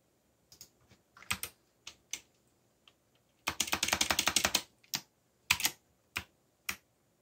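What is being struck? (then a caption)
Plastic mechanical keyboard. Fingertips type on a backlit plastic mechanical keyboard with black plastic keycaps. Key presses come in scattered short clicks and then a dense, rapid burst of typing, each press a bright, dry clack with almost no ring.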